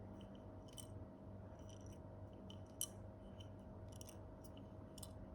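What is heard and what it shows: A hollow carbon fiber bicycle crank arm, sealed shut, rattles as it is moved because something loose is stuck between its hollow walls with no way to get it out. Faint, short, high-pitched clicks and ticks sound over a steady low hum, with one sharper tick standing out near the middle.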